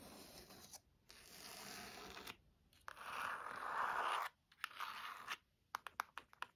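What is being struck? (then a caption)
Leather-bound hardcover book. Long nails scratch the cover and spine edge of a burgundy leather-bound hardcover book, making several sustained, dry scratching strokes, with the loudest and brightest around the middle. It ends with a quick run of short, sharp scratches separated by brief silences.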